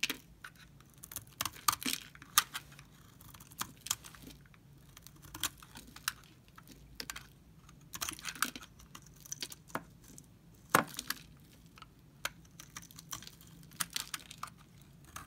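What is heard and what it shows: A utility knife blade scrapes shavings off a solid, dry pink Camay soap bar held in the hands, with the curls piling up on the bar and the table. Quick, crisp scrapes and bright crackles repeat in irregular bursts throughout, each dying away almost at once over a quiet, faint background.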